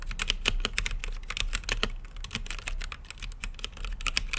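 Fingertips type on a green-lit mechanical keyboard with plastic keycaps set in a clear acrylic case. A fast, steady run of short, crisp clacks carries a bright click around 2.5 kHz over a low thudding base. Each keystroke dies away almost instantly.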